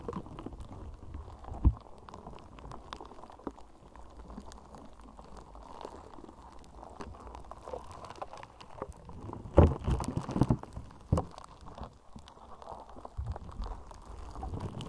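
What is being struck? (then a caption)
Slime ball with polystyrene foam beads. A palm-sized, soft and solid ball of slime packed with tiny purple polystyrene foam beads is scratched, tapped and kneaded with long nails. The result is a dense, low crackling and squishing texture with soft bead pops, plus a few louder sharp taps near the start and middle.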